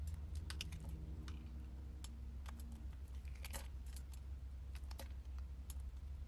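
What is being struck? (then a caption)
Bar of soap cut with a metal blade. A solid purple oval soap bar is held in the hand while a metal blade slices strips and cubes from it. Quick, crisp, bright ticks and scrapes from the cuts sound in irregular bursts over a steady low hum.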